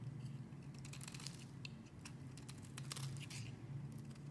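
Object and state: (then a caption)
Bar soap being shaved. A metal blade carves and scrapes a pink solid bar of soap held in the hand, shaving curls off its edges. Short, bright, crisp scraping strokes sit over a steady low hum, all at a quiet level.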